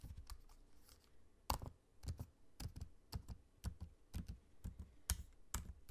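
Fingertips type on a MacBook-style laptop keyboard with low-profile plastic keycaps set in a space-grey aluminium body beside the trackpad. Soft, dull keystroke taps come in an irregular rhythm, each a short, low thud with a brief bright click that dies away almost at once.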